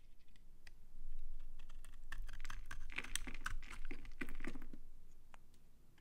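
A utility knife blade scrapes brittle flakes off a palm-sized, old, dry brown Farmamed bar soap with an embossed brand name. Quick, irregular crisp crunches and clicks fire in a steady flurry over a low, dull background. Short bright flake snaps stand out near the middle before the scraping thins out at the end.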